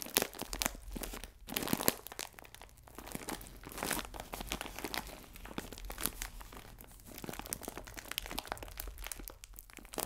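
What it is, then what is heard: Plastic bag of biscuits being crinkled. A clear plastic film bag full of biscuits is squeezed and crinkled with both hands, producing a dense, continuous stream of bright crackling and crunching. The sound is fairly quiet and swells and fades in irregular bursts, with no voice heard.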